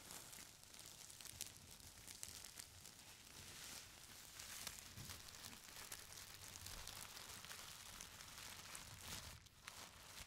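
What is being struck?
Stack of thin tissue paper.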